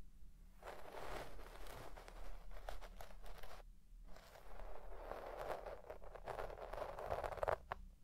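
A white plastic pick comb scratches back and forth through the fibres of a deep-pile red shag synthetic carpet while the other hand rests still on it. The sound is a soft, dry, crackly rasp in bursts, with short pauses near the 0.5 and 4 second marks.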